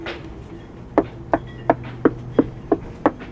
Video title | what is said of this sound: 5 Crazy things boat owners face (and we did too) | I'm just doing a little bit of a knock test when you just kind of listen here that's a solid sound